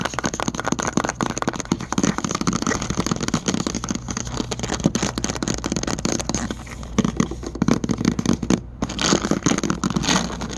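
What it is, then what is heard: Plastic supplement bottle. Fingertips and short nails rapidly tap and scratch a hollow white plastic magnesium pill bottle with a purple label and a white screw cap, held close, its fill not visible. A dense stream of quick, dry clicks and crackly scraping runs throughout, with a brief pause near the end before the tapping resumes.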